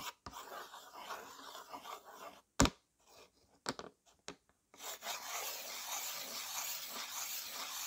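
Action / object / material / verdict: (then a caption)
scrape / slate writing board and slate pencil / slate / none. A white slate pencil held in fingertips rubs and scratches in strokes across a flat, dark, solid slate board in a yellow plastic frame, covered in chalky dust. Dry, gritty rasping scratches give way to a pause broken by five sharp, bright ticks of the pencil against the slate. A steady, hissy, high scraping stroke then carries on to the end.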